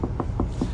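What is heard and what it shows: Knuckle knocks on the body panel of a Morodadi Prima double-decker bus body, heard from inside the bus. The knocks are short, dull and low-pitched, with no rattle, sitting over a steady low hum. The panel sounds solid, consistent with a very sturdy body.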